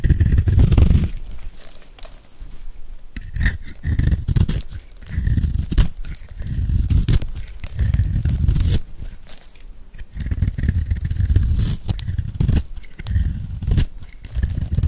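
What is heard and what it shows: A metal blade scrapes and carves shavings off a hand-held, dry, solid cream-white rectangular soap bar with a gold edge. The result is a steady run of low, crunchy scraping and crackling strokes that swell and fade over and over.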